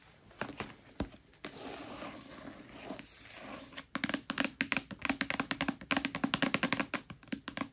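Long nails tap the glossy card cover of a thick paperback copy of A Court of Thorns and Roses lying flat. A few light taps and a dull thump give way to a soft, scratchy brushing stretch. Then a quick, uneven run of crisp, bright clicks carries through to the end.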